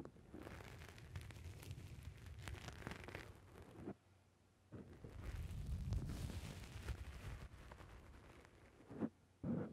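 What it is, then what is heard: Foam microphone windscreen being squeezed. Fingertips press down on and squeeze a black, rounded foam windscreen on a microphone, producing a muffled, bassy rumble with crackly rustling and soft pops. The squishing goes quiet briefly around the four-second mark, swells again, and ends with a couple of sharper thumps.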